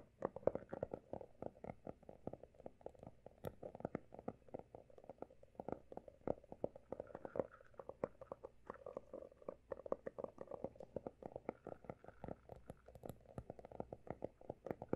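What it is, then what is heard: Hardcover notebook, solid. Fingertips of both hands tap quickly on the pale blue embossed cover of a closed, solid textured hardcover notebook. The result is a rapid, continuous patter of short, dry taps with a muffled midrange tone and no ring. Some taps land slightly louder and brighter than the rest.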